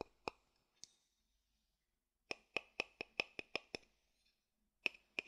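A thin wooden stick taps and clicks on the base and rim of an empty, hollow wooden bowl turned over in the hand. It makes a series of short, dry, bright knocks with a ring around 2.5 kHz, in a few scattered taps and then a quicker run, each dying away almost at once.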